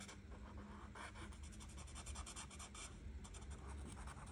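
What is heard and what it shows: A felt-tip art marker, held by a hand with red nails, rubs back and forth across the thin printed paper page of a coloring book lying flat. Quiet, rapid scratchy strokes repeat over a steady low hum.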